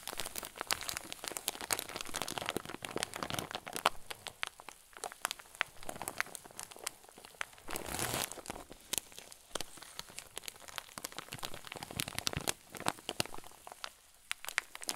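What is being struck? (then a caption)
Plastic zip bag filled with soft stuffing. A clear zip-lock plastic bag full of white fluffy filling is squeezed and crinkled with both hands. The result is dense, bright plastic crinkling, with many quick sharp crackles over a soft rustle and a longer continuous rustling swell about halfway through. Each crackle dies away almost instantly.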